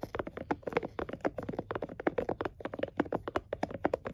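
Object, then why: Plastic and silicone scalp massager. A plastic and silicone scalp massager is held in both hands while fingertips and nails tap and flick its silicone bristles. The result is a quick, uneven run of soft, dry clicks and taps with no ring, centered in the low mids around 340 Hz.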